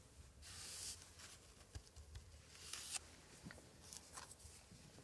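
A thin pointer stick held in a gloved hand scratches and traces across a colorful floral paper page of an antique 1880s scrapbook, while the other gloved hand holds the book open. Soft, bright, dry scratching and crinkly rustling come in short bursts, the longest and loudest near the start, over a faint low rumble.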